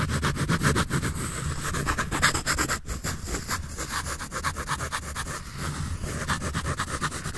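A graphite pencil draws and scratches across the surface of a large white paper sketch pad held upright by hand in front of the microphone. Quick, scratchy back-and-forth strokes repeat about four times per second in an uneven rhythm, with bright papery rasp over a steady low rumble.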